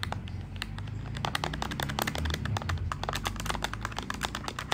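Fingertips of both hands type rapidly on the plastic keys of a black plastic desktop calculator with a hollow body. A dense run of short, sharp clicky taps with bright edges comes in quick succession. A steady low rumble sits underneath.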